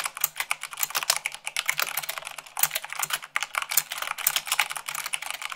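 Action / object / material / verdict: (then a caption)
tap / plastic mechanical keyboard / plastic / none. A full-size mechanical keyboard with white plastic keycaps on a black frame is typed on quickly by fingertips with long pink nails. The result is a steady, dense stream of short, bright clicks and clacks with almost no low end, each keystroke dying away almost instantly.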